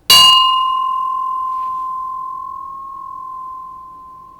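A Japanese Buddhist temple bell of recast bronze is struck hard once, with the striker dropped from a distance. It gives a loud, bright clang that settles into a long, steady ringing tone around 1 kHz, with higher partials fading within the first second or so. The hum sustains past four seconds, and the bell is called a wonderful bell.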